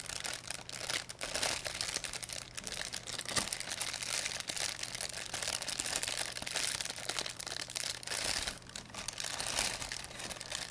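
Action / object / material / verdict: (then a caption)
scrape / thin plastic bag / plastic / none. A thin, empty white plastic pharmacy bag with blue print is held in both hands, crumpled and rubbed between fingertips with long painted nails. It makes a dense, continuous bright crinkling and crackling that rises and falls in intensity throughout, over a faint steady low hum.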